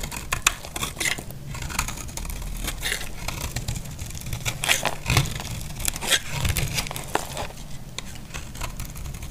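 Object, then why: Bar of soap cut with a knife. A solid, dry white bar of soap is held in the hand and carved at the edges with a utility knife. Repeated short, crisp scraping and crumbly shaving sounds with bright edges sit over a steady low rumble, with quick cuts that stop dead and leave no ring.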